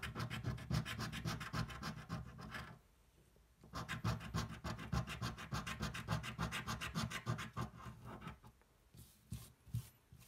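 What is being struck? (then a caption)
Cardboard scratch-off lottery ticket. A thin, flat cardboard scratch-off lottery ticket, held flat on a table, is scratched with the edge of a coin in rapid, steady back-and-forth strokes. The dry, raspy scraping pauses briefly near the 3-second mark. It then resumes and fades into sparser strokes as the hand comes to rest.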